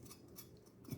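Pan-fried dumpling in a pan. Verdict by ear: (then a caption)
Crisp. Pan-fried pot sticker dumplings are scraped in the pan, making a quiet, steady scraping crackle with faint bright flicks and a slightly louder scrape at the end. The dumplings are crispy on the bottom, a good sign.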